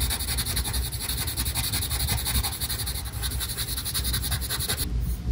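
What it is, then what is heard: Colored pencil scribbling on paper. A green colored pencil rubs rapidly back and forth across a flat paper coloring page, shading a background area with a continuous scratchy motion. The dense, bright scratching repeats in quick strokes over a low steady rumble, then thins out and stops just before the end.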